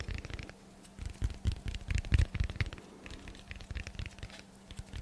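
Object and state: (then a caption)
Dense foam block, tapped. Fingertips tap rapidly along the edge and face of a solid, rectangular, dense black foam block held in both hands. The result is a quick, uneven patter of soft, dull, low thuds with faint scratchy rustles between them, and a faint steady low hum underneath.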